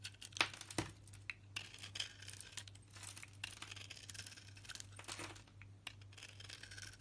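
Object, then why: Bar of soap. A knife blade shaves curls off a solid green striped soap bar with a pale yellow interior, held in the hand. Quiet, crisp scraping and crinkly peeling sounds repeat unevenly, with bright, short clicks over a steady low hum.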